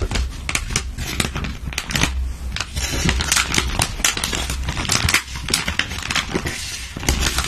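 Long patterned nails and fingertips rub, scratch and press a flat gold-and-clear metallized plastic zip pouch holding a silicone face mask, lying on a table. The result is continuous bright crinkling and crackling with quick, sharp scratches over a steady low hum.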